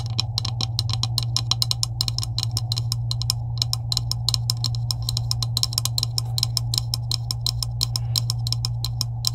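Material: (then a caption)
Plastic. Long acrylic nails tap rapidly on a green hollow plastic PVC pipe with couplings, finishing with one hand. Dozens of short, bright clicks fire in a quick, uneven patter over a steady low hum, with each tap dying away almost instantly.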